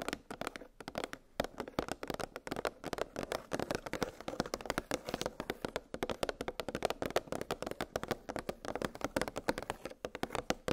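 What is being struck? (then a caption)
Hard plastic blister pack holding metal cookie cutters. Long acrylic nails rapidly tap on a clear hard plastic blister pack holding metal cookie cutters on a cardboard backing. The result is a steady stream of sharp, dry, clicky taps with a hollow plastic tone in the mids. Each tap dies away almost instantly.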